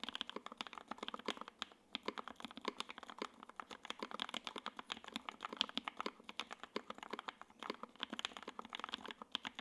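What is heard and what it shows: A J-02 WKL 60% mechanical keyboard with Tangerine switches, ABS keycaps, a gray aluminum case and a carbon fiber plate is typed on continuously with the fingertips of both hands. It gives a steady stream of fast, crisp, dry clacks with almost no low end and a bright peak near 3.2 kHz, each keystroke dying away instantly.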